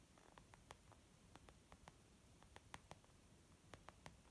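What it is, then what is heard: Leather makeup bag. Gentle, slow fingertip tapping on a leather makeup bag. Thirteen soft, short taps sound over a low, steady rumble.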